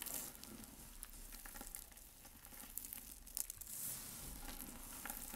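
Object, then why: Pile of white soap shavings crushed by hand. Bare fingertips and palms with short nails squeeze, crush and rub a large loose heap of dry, brittle white soap shavings, flakes and chunks on a dark surface, pressing them into a mound. A quiet, continuous bright crackling and crunching runs throughout, with a faint low rumble beneath and a few sharper crisp snaps.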